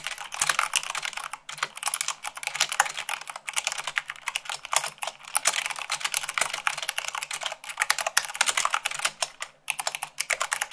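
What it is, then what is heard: Plastic mechanical keyboard. Long pink nails and fingertips type fast, at about 98 words per minute, on a full-size mechanical keyboard with white plastic keycaps on a black frame. A dense, steady stream of short, bright, clacky key clicks is heard, with almost no low end and only brief pauses between bursts.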